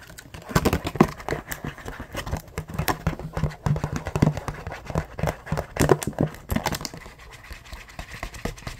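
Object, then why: Rigid clear plastic blister pack. Fingertips and nails rapidly scratch and tap a hollow, hand-sized, yellow-tinted clear rigid plastic blister pack. The result is a quick, irregular stream of short, dry clicks and crackly scrapes with a hollow, low thump beneath them. Each sound dies away almost instantly.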